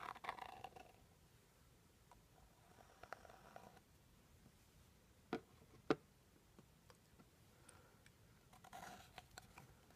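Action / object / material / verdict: tap / small rigid cardboard box / cardboard / none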